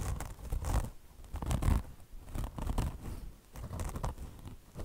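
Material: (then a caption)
Mesh fabric. A beige car wash sponge, with a mesh top over foam and a chenille fringe, is scratched by long blue nails gripping its sides. The result is irregular bursts of soft, dull, rustling scratches, heavy in the low end, rising and fading about once a second.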